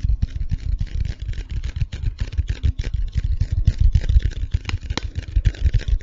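A tall, hollow cardboard Pringles chip tube is held in one hand close to the mic and tapped and scratched along its side with fingertips and nails. The result is a fast, uneven flurry of deep, hollow thumps around 94 Hz, with a faint scratchy rustle over the top.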